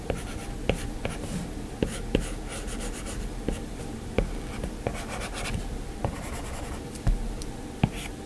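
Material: Glass.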